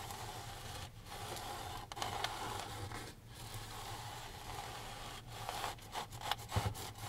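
A gloved hand rubs a microfiber rag along the wooden frame and canvas edge of a framed canvas oil painting lying flat. Steady swishing, scraping strokes run over a low hum and a faint tone near 800 Hz. Brief quiet gaps fall around 1, 2, 3.2 and 5.2 seconds, and the strokes turn shorter and choppier near the end.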